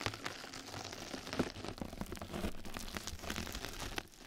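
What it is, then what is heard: Mesh bath sponge being scratched. Two mascara brushes scratch and brush across the surface of a flat yellow knitted-mesh scrub sponge pad resting over the microphone. The result is a continuous, close-up crinkling and scratching texture with dense small crackles and soft low rumble, quiet throughout and easing slightly at the end.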